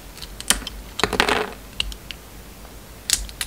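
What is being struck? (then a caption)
Bar of soap. A utility knife blade shaves the surface of a solid purple bar of soap with embossed lettering. Sharp, bright, crisp clicks and short scraping cuts come in quick, irregular bursts over a quiet background, each dying away almost instantly.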